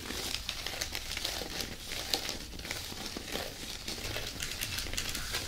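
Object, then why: Dry loofah plant-fiber pad. Long natural nails scratch and tap the rough, fibrous surface of an oval loofah bath pad made of dry plant fiber with a fabric trim. The result is a steady, dense, bright crinkling and crackling texture with short, dry taps that fade almost instantly.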